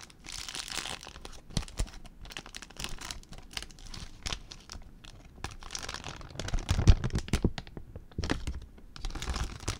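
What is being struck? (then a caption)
Plastic zip bag. An empty clear plastic zip bag is crinkled and twisted with fingers. Dense, bright crinkling and crackling comes in bursts with short pauses between them, and the loudest, sharpest crunches come around the seven-second mark.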